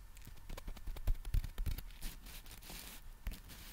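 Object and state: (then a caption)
Folded nylon umbrella. Fingertips scratch and rub the fabric of a black folded nylon umbrella held in both hands, making the nylon crinkle. An irregular run of quick, soft scratches and rustles is heard, with dull low thumps under bright, airy crinkling that swells in the middle of the clip.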